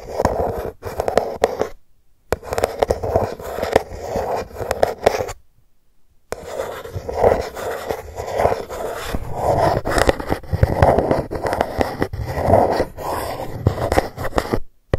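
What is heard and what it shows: A single long fingernail scratches and taps across the embossed GUCCI logo on a dark cardboard gift box lying flat. The result is dry, papery scraping in rhythmic bursts, with a warm midrange rasp and soft tapping. Two brief silent pauses break up the scratching.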